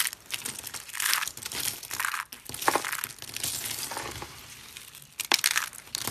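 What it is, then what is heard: Dry, brittle soap shavings. Thin, dry white soap slices and brittle flakes are crushed and rubbed between the palms and fingers. The result is a dense stream of crisp, bright crunching and crinkling with little low end. Several sharper snaps stand out near the start and end.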